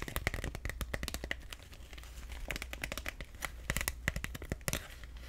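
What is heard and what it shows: Fingernails scratch, rub and crinkle the thin plastic of an empty clear PVC/vinyl tote bag with black straps, close to the mic. Quick, dry crackles and ticks come in uneven bursts, bright and crisp with almost no ring. A steady low hum runs underneath.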